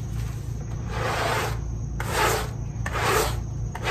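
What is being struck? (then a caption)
Fabric pile rug scrubbed with a stiff-bristle brush. A handheld stiff-bristle scrub brush is rubbed in fast strokes across a small, wet, pink fabric pile rug. Three broad, swelling scrubbing passes rise out of a continuous wet, rasping rub, over a steady low hum.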